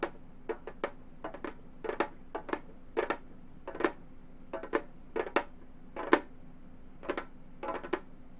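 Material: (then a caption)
Synthetic membrane. A round, hollow Remo frame drum with a synthetic head is tapped with the claw tips of long gold metal finger claws. The taps come in irregular clusters of quick, dry clicks, with a mid-pitched drum tone and bright metallic tips on each strike. Each tap dies away almost at once over a faint steady background hum.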